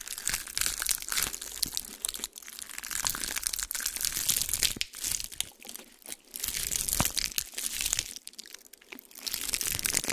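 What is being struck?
Pine cone.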